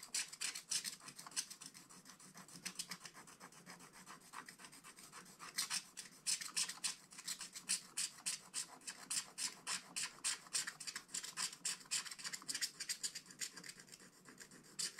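A wooden stylus scratches away the black coating of a scratch-art book page below the tree. It makes a quick, somewhat uneven series of short, dry, bright scraping strokes, about three or four per second, with no low rumble.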